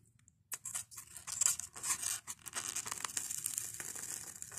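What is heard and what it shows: Fingertips and nails scratch, squeeze and pluck foam beads from the crumbling edge of a white expanded polystyrene block. After about half a second of near silence, a dense run of dry, bright, squeaky crackles and scratchy rustles continues to the end with almost no low end.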